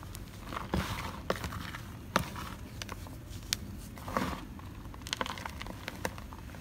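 Bare fingertips and hands squeeze, crumble and rub a large pile of pinkish-white crushed gym chalk (magnesium carbonate powder), solid dry crumbs and powder. Soft, dry crunching and gritty rubbing run throughout, broken by sharp crackling snaps as pieces break apart, over a low rumbling background.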